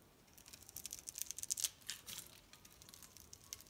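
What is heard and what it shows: A metal utility-knife blade scores and carves a grid into the surface of a solid, palm-sized, pink-and-white striped bar of soap held in one hand, with cubes crumbling off. A quiet, rapid series of crisp, bright scraping crunches and dry ticks builds to its sharpest bursts near the middle, then tapers into softer crumbling.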